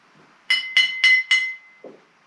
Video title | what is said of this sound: 3-8 Sitting Bull Science of Sound Virtual Assembly | if I tap them, that sounds almost high-pitched